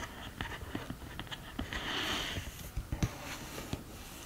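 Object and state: Cardboard eyeshadow palette tapped and scratched with nails.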